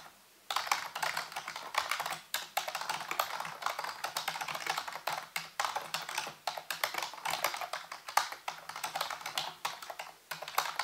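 A full-size black plastic keyboard with hollow keys, sitting on a white base, is typed on rapidly with the fingertips after a brief silent start. The key taps come as a fast, steady stream of short, dry, bright clicks with almost no ring.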